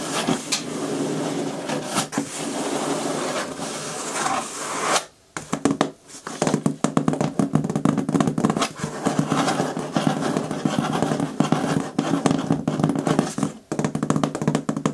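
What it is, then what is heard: Cardboard shipping box. Long nails tap quickly and scratch across the taped top of a medium, closed, hollow corrugated cardboard shipping box. The result is a dense run of dry, papery clicks and scrapes over a hollow resonance near 250 Hz. There is a brief quiet pause around the five- to six-second mark before the rapid tapping resumes.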